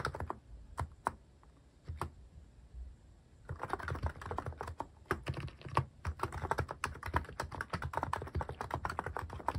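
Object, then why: Mechanical keyboard with plastic keycaps. Fingertips type on a cream mechanical keyboard fitted with sculpted plastic cat and paw keycaps. A few scattered keystrokes come first, then after about three seconds the typing becomes a rapid, steady run of short, dry clacks with a deep thock. Each keystroke stops almost at once with no ringing.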